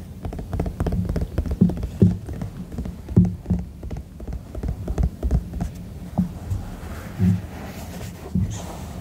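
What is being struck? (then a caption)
Silicone duck-shaped night lamp. A white silicone duck night lamp is held in both hands while fingertips and nails tap its body. The taps are soft, muffled thumps, mostly low and dull with almost no brightness. They come in rapid, irregular bursts that die away almost instantly.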